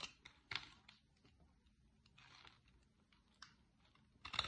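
A small metal blade scrapes and cuts thin flakes off the edge of a large, dry green bar of Fax soap, held in one hand with a corner already carved away, as shavings pile up below. The scraping comes as short, dry, bright crackles and crunches. Between them are quieter stretches of soft shaving, and the clip ends on a louder cluster of cuts.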